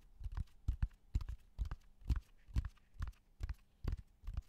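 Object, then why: Natural cork bark slab. A flat, solid, rough natural cork bark slab about 30 cm wide is held in front of the microphone and tapped with fingertips and short nails. The taps are dull, low, woody thuds that die away almost at once, often landing in quick pairs, in a loose, unhurried rhythm.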